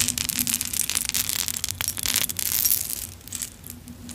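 A long vintage necklace on a metal chain, strung with small solid clay kitchen charms and metal bead charms, hangs from one hand and is jostled with long acrylic nails and fingertips so the charms clink together. The result is a dense, continuous patter of bright, crisp clicks and light metallic jingling, with a faint low hum underneath, easing slightly softer toward the end.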